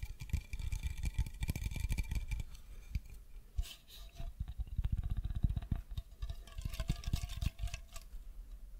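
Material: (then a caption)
Aluminium. Fingertips and nails tap and scratch the surface of a hollow green aluminium aerosol spray can, held horizontally and then upright close to the mic. It produces a quick run of soft, low, thumping taps with short bright clicks and scratchy rustles. Each tap dies away almost at once, leaving only a faint metallic ring.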